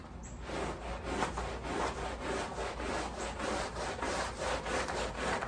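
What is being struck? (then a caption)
Woven pile rug scrubbed with a bristle push brush. A wet, foamy patterned woven pile area rug lying on a plastic sheet is scrubbed with a wooden-handled black bristle push brush. Steady back-and-forth strokes make a soft, continuous rasping scrub with a mid-range body and some brighter hiss, repeating at a fairly even pace throughout.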